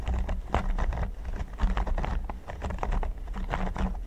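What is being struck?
Silicone pyramid mat.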